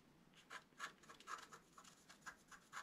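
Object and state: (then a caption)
Stylus scratching a scratch art card. A wooden stylus scratches fine lines into a flat, black-coated scratch art paper card. The result is a series of short, quiet, dry scraping strokes with a bright hiss, each stopping quickly, against a soft background.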